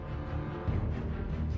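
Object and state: Nothing is struck.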